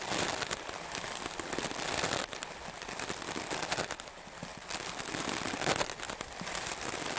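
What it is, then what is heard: Melamine foam sponge. A white melamine foam magic eraser block is scrubbed fast and hard with a stiff-bristle wooden clothes brush. The sound is a dense, bright, scratchy crackle of rapid bristle strokes with little low end, briefly dipping quieter a few times before picking back up.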